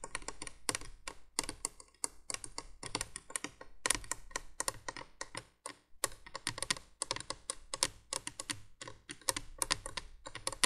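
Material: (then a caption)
Plastic. Long nails tap and scratch on the hollow plastic base of a window candolier. Quick, dry, bright clicks come in rapid irregular bursts with brief scratchy rasps and almost no ring, over a faint low hum.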